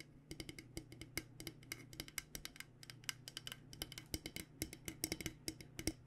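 Fingernails tap quickly and unevenly near the steel bottom of a purple-coated insulated stainless steel water bottle held sideways. Each tap is a short, bright click with a faint metallic ping that dies away almost at once. A soft, steady low hum runs underneath.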